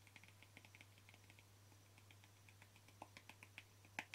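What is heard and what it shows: Short fingernails of both hands tap the flat plastic lid of a small white plastic cream jar, making about twenty quick, dry, bright clicks with almost no ring. A steady low hum runs underneath, and the last few taps, near the end, are louder.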